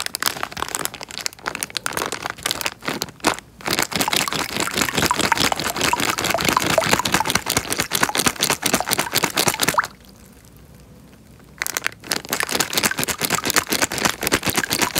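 Hands squeeze and crumple a small, clear, thin plastic bag partly full of water, making dense, bright crinkling and crackling with soft sloshing underneath. The rustling runs almost continuously, drops to near silence for about two seconds around the ten-second mark, then resumes.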